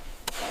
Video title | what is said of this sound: Constructing a Home at -30°C | When that upper log drops, it needs to land with a dull thud. That is the sound of a vacuum seal being created.